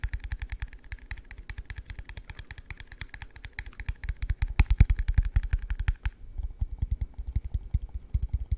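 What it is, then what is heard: Plastic cup. A hollow, empty, yellow translucent plastic cup held in the hand is tapped rapidly with the fingertips, producing dozens of quick, dull, low thuds in an uneven rhythm. For the first six seconds a faint brighter click rides on each tap, then only the deep, short thumps remain, growing a little louder near the middle.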